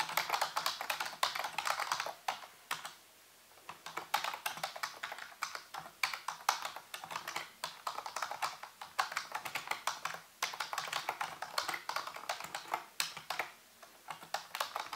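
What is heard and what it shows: Fingertips and nails type and tap on the keys of a full-size black plastic computer keyboard with a hollow housing. Rapid, bright plastic clicks run in dense bursts, with a brief pause near the three-second mark. Each tap dies away almost instantly.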